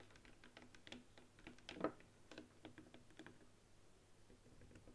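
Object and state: Plastic game controller.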